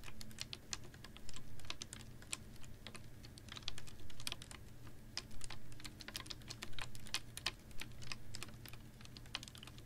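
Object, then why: Ribbed plastic water bottle with a little water. A clear, ribbed PET water bottle holding a little water is held upright in one hand and tapped with long nails. Quick, bright, clicky taps land in an uneven, scattered rhythm and die away almost instantly, over a steady low hum.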